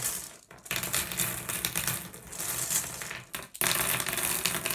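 Fingers grab a handful of small, solid blue glass gem pebbles and pour them from one hand into the other over the pile. The result is a dense, bright rattle of clicking and clinking stones, with short quiet gaps near half a second and three and a half seconds before the pouring picks up again.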